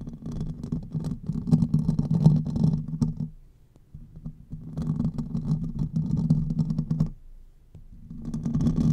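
Fingertips and nails of both hands scratch the hollow domed metal mesh grille of a silver condenser microphone. The result is a dense, rumbling, crackly scratching centered low around 150–200 Hz, with faint bright specks above. It comes in three bursts separated by brief quiet pauses.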